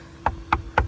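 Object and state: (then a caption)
Wood-frame stucco wall (not concrete block). Three knocks on a stucco-covered bump-out at the front of a house, a wood-frame wall with flush-set windows rather than concrete block. Each knock is a short, dull thud with a low body and a brief midrange tap that dies away almost at once. The hollow sound confirms the wall is wood frame.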